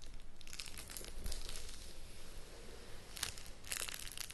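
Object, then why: Cardboard box in plastic shrink-wrap. Long nails scratch and tap the top and sides of a sealed, shrink-wrapped cardboard board game box while hands grip and rub the plastic wrap. Bright, crisp crinkling comes in bursts over a soft low rumble, easing off in the middle before louder crinkles return near the end.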